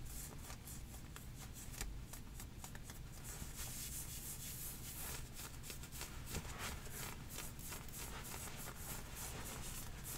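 Long painted nails and fingertips vigorously scratch and rub heathered grey knit leggings with a white drawstring, worn on the legs, where the fabric is soft and thin over the thighs. A continuous, dense scratching and rubbing texture is heard, with quick bright rasps over a steady low rumble.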